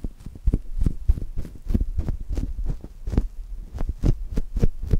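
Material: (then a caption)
Polyurethane foam. Two index fingertips press and rub a brown polyurethane foam chocolate toast squishy placed between the mics. It makes a quick, uneven series of soft, deep, muffled thumps, some edged with faint bright crackles, over a low steady hum.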